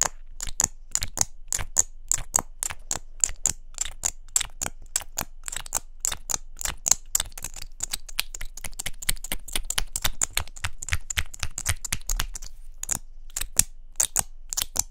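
Long fingernails tap rapidly on a small, hollow pink plastic mascara tube with a gold cap. The result is a fast, uneven stream of sharp, dry, bright clicks that stop instantly with no ring, plus a brief gap near the end before the tapping resumes.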